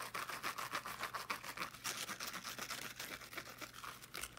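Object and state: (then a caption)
Fabric-covered small speaker being scratched. Long painted nails quickly scratch the teal woven fabric mesh of a small fabric-covered speaker. The result is a rapid, bright, rhythmic scratching with a steady hiss-like texture throughout.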